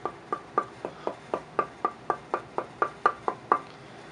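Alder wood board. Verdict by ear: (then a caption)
Consistent. An American alder tonewood board meant for guitar bodies is tapped 15 times at a steady pace, each tap a short, dry knock with a brief ring near 1.2 kHz. The tap tone stays very consistent from tap to tap.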